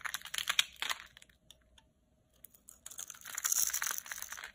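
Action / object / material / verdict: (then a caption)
scrape / bar soap scraped with a knife blade / soap / none. A utility knife blade scrapes grid lines into a very dry, solid red bar soap held in the palm, shaving off crumbly cubes. Bright, dry scratching and crunching bursts come first, then a near-silent pause, then a denser run of gritty scraping with no ring after each stroke.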